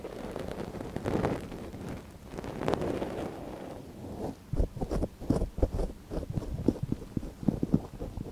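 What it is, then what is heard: Silicone microphone ear being scratched. A gloved hand scratches inside the canal of a small, hollow white silicone dummy ear on a binaural microphone with a long, thin wooden ear pick. Soft, muffled rustling and dull swishes in the first half give way to a run of quick, close scraping ticks and crackles.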